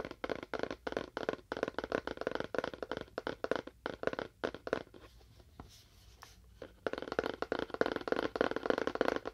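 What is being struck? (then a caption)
Cardboard box with faux wood finish. A fingernail taps rapidly on a cardboard box with a faux wood finish, making dry, short clicky knocks with a midrange body. The taps come in quick bursts, pause briefly for a few quiet scratchy moments near the middle, then resume at a steady pace.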